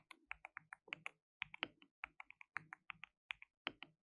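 Fingertips of both hands type rapidly on a white, RGB-backlit compact mechanical keyboard with a hollow case and plastic keycaps, some of them translucent pink. About 23 quiet, bright, sharp key clicks come in an uneven run, each dying away almost at once.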